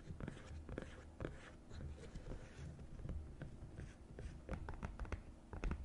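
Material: Silicone.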